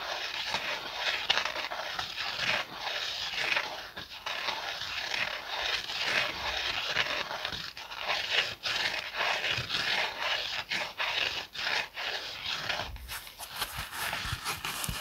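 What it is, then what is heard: Kitchen sponge scratched with fingernails. Fingernails scratch the scouring side and then the foam side of a yellow and green foam kitchen sponge with a scouring pad. The result is a dense, bright, raspy scratching concentrated in the upper range with almost no low end, broken by brief dips in level, and its texture shifts near the end.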